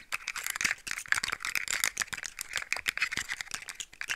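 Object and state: Plastic articulated fidget toy rattling.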